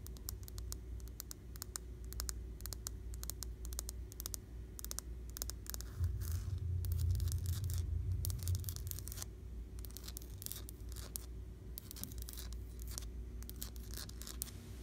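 Long blue-painted fingernails and fingertips tap and scratch a flat, solid, white-painted wall with a textured, bumpy plaster surface. Quick, fairly irregular sharp clicks and scratchy scrapes flash bright over a steady low hum, and the low rumble swells for a few seconds in the middle before settling back.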